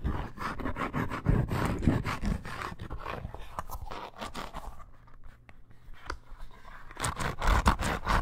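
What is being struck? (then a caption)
Embossed faux leather bracer. Long nails scratch quickly along a curved red snake-embossed faux leather bracer with eyelets. The rapid, uneven scraping strokes carry a low, rough rumble with brief bright edges. The scratching softens in the middle before picking back up louder at the end.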